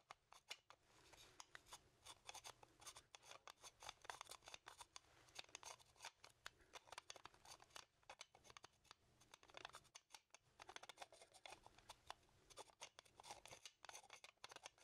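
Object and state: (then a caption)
Small animal skull (bone), scratched and tapped. A small, hollow, dry animal skull made of bone is held in one hand while fingernails rapidly scratch and tap across it. The result is a quiet, dense stream of crisp, bright clicks and scrapes that stop almost instantly, with very little low end.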